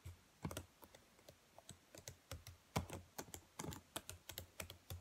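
Long nails tap and type across the black plastic keys of a dark laptop keyboard. Quick, dry clicks come in an irregular run, each with a low thump beneath a bright tick and almost no ring.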